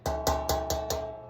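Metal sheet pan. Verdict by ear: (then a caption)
Heavy. A heavy Pampered Chef metal sheet pan, heavier than a lighter store-bought pan, is tapped five times, each tap giving a deep, ringing metallic tone with a low hum underneath. Its heavier build means it won't warp.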